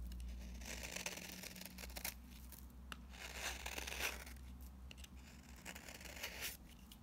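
A metal utility-knife blade with a yellow handle scrapes and shaves curls off the face of a single flat, rectangular orange bar of very dry, solid soap held in one hand, while crumbled soap lies untouched nearby. Dry, bright, crackly scraping strokes come in uneven bursts over a steady low hum. Each stroke has a crisp, papery edge and dies away almost at once.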